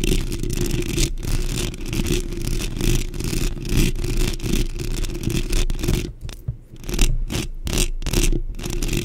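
Long pink nails rapidly scratch and tap a black metal mesh microphone grille, first with both hands and then with one. Close, dense scraping sits over a heavy low rumble, with bright bursts of scratching. The sound thins into sparser taps for a moment near the end before picking up again.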